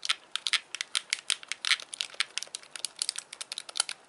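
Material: Plastic.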